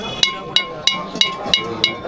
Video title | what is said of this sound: পশ্চিমবঙ্গের বৃহত্তম খাঁটি গুড়ের হাট - Indias Organic Nalen Jaggery Market | যদি অরিজিনাল মানে ভাঙ্গা না থাকে তাহলে ঠনটন করে আওয়াজ হবে